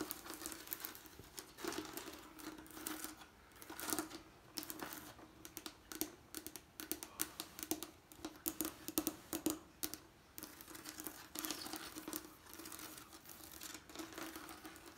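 A fingertip and nail tap and scratch on a leaded stained glass window, a hard, flat panel of colored diamond panes set in lead came. Quick, dry taps mix with bursts of scratchy rustling over a faint steady tone near 310 Hz, and each tap dies away almost at once.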